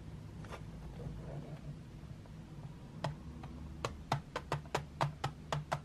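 Long white-painted nails scratch softly and then tap on the lid of a closed, flat, printed metal tin holding 12 drawing pencils, its hollow case lying on a marble table. A quiet stretch of faint scratching gives way to a quickening run of short, bright, clicky taps that die away almost instantly over a steady low hum.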